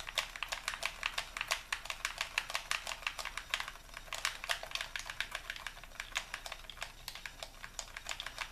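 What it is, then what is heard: Plastic game controller buttons clicking. A white, hollow plastic Xbox controller is held in both hands while fingertips rapidly click its buttons. Dozens of quick, dry, bright plastic clicks come in an uneven, steady stream, each dying away almost instantly over a faint, quiet background.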